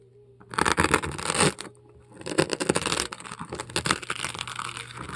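A metal scoop tool scrapes and carves foam pieces out of a large polystyrene foam ball, producing loud, bright, crunchy scratching and squeaking in a dense burst from about half a second to 1.5 seconds. After a brief pause, a longer stretch of rapid crunching and scraping follows until the end, over a faint steady low hum.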